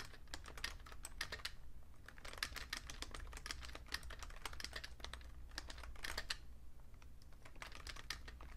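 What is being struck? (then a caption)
Plastic computer keyboard. Fingertips type steadily on a vintage beige Fujitsu Siemens full-size plastic keyboard with a hollow case, producing quick, dry clicking taps with bright edges and a hollow plastic tone around 1.7 kHz. The taps come in dense, uneven bursts over a steady low hum.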